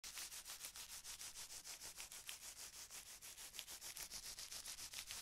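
A long strip of clear, thin plastic bubble wrap with air-filled bubbles is held in the hand and rubbed and crinkled between the fingers and palm. It makes a quick, steady rhythm of bright, hissy crinkling strokes, with an occasional sharper crackle standing out.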